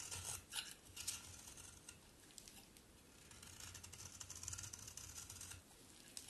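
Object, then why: Bar of soap shaved with a knife blade. A solid pink-brown bar of soap held in the hand is rasped and shaved with a utility knife blade. Dry, bright scraping strokes come in bursts with a faint low rumble beneath, louder near the start and again toward the end.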